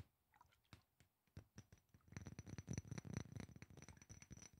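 A small rectangular glass perfume bottle with a black cap, partly filled with yellow liquid, is tapped with fingertips and nails. Sparse, soft taps give way after about two seconds to a fast, louder, irregular run of short clicky taps with a dull low body and a bright edge.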